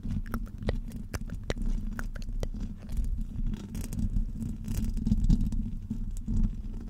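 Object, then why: Woven metal microphone grille. Long pointed nails on both hands scratch and tap the top of a hollow woven metal microphone grille. The result is a dense, low rumbling rustle with sharp, bright clicks scattered through it.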